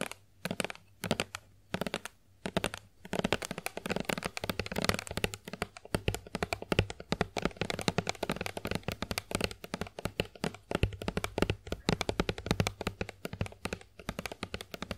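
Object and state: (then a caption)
Plastic lotion bottle tapped with nails. Long acrylic nails rapidly tap a hollow Johnson's plastic body milk lotion bottle held in the hands. The result is quick, crisp clicks and light knocks, sparse with short pauses at first, then a dense, continuous patter. A faint low hum runs underneath.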